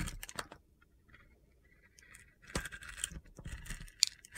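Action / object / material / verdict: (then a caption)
scrape / bar soap with a glitter coating, scraped with a metal blade / soap / none. A metal utility knife blade slices and scrapes the coating off a palm-sized, hand-held solid black glitter bar soap with purple sequins and a white inside. Crisp, bright crunching and gritty scraping come in quick bursts, with a quiet pause in the middle before a louder run of scraping that ends with a sharp tick.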